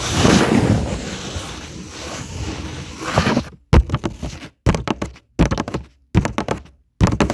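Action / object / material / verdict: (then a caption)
tap / paper coloring sheet on a table / paper / none. Fingertips and short nails of both hands tap repeatedly on a flat, thin paper coloring page lying on a table. A steady papery rustle fills the first few seconds. Then five short bursts of quick, dull, low-pitched thunks follow, separated by brief silences.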